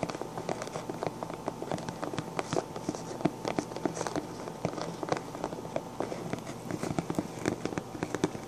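Both hands rapidly scratch and tap the hollow crown of a pink sequin-covered fabric fedora with short dark-painted nails. A dense stream of sharp, dry clicks and scratchy rustles with no ring plays over a faint steady hum.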